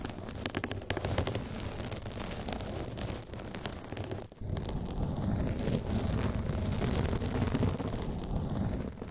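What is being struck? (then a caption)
Foam microphone windscreen. Long pink and blue nails scratch the front and sides of a large blue foam windscreen shaped like a teddy bear, fitted over a microphone. The result is a dense, continuous scratching and rustling rumble, heavy in the lows, that briefly drops out midway before resuming just as strongly.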